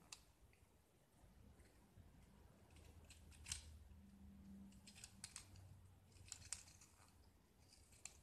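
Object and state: Gypsum block being carved.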